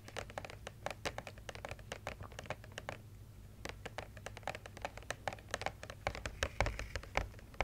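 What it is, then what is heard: Cardboard advent calendar. Long red nails tap and scratch across a large, flat, printed cardboard advent calendar with an angels design, about 30x40 cm, holding small compartments. Rapid, dry, clicky taps mix with scratchy strokes, with a brief quieter stretch around three seconds. A low steady hum sits underneath the whole clip.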